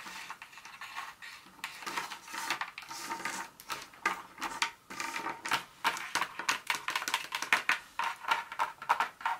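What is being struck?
Pieces of dark chocolate tapped with long fingernails.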